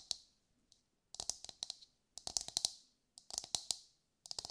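A brown husked whole coconut with a hard, fibrous shell is held in both hands and tapped with long light-grey nails. About 18 quick, dry taps come in bursts with short pauses between them. Each is a bright, high click that stops almost at once, with little low-end body.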